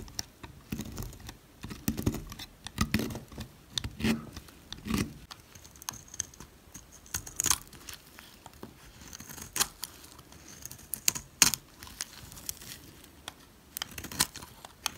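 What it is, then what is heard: Dry soap bar. A blade cuts slices from a solid white oval bar of dry soap, then a utility knife scrapes its flat face. Soft, dull thuds from the cutting open the clip, giving way to quick, crisp, bright scraping strokes with a dry, crumbly crackle. Each stroke dies away almost instantly.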